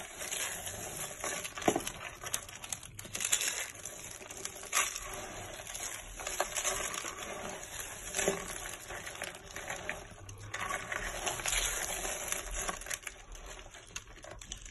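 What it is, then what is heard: Dry soap curls being crushed. Both hands crush and rub a pile of purple, white and yellow dry soap curls and flakes with the fingertips. The result is a continuous, bright, crisp crunching and crackling with repeated louder crunches throughout.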